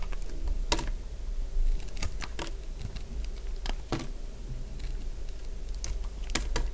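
A small solid cream-coloured chunk of dry bar soap is sliced with a utility blade, giving a run of sharp, dry, brief crunching clicks that flash up into the high range over a steady low hum. The cuts come irregularly through the clip, with a few standing out more loudly than the rest.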